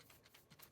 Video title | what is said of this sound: Tineco Pure One S15 Cordless Vacuum Review | It's too hard to see in the dustbin, but if I shake it around, you can hear we got sand.